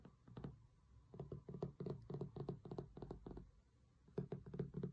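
Fingertips and nails tap and knock rapidly on the cloth cover of a large, closed hardcover cookbook with a solid thick board, resting on a marble table. The result is quick, irregular bursts of soft, dull, low thuds with very short decay and a brief lull before the final flurry.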